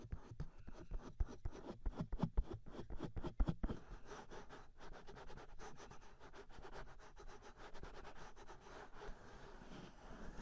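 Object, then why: Silicone ears of a binaural microphone. Fingertips rub and massage the hollow silicone ears of a 3Dio binaural microphone, both hands cupping the ear shapes. Dense, rapid brushing and scraping bursts open the clip, then settle into a steady, softer rubbing texture. The sound is close, low and muffled, with the strongest strokes in the first few seconds.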